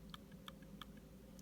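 The trackpad of a 2015 MacBook Pro is clicked repeatedly for comparison, giving short, crisp clicks with a quieter tick after each. The clicks sound solid rather than hollow, over a steady low hum.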